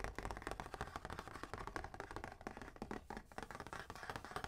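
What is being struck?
Flat cardboard calendar box.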